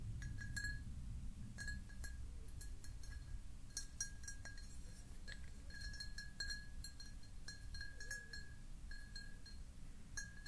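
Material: Glass.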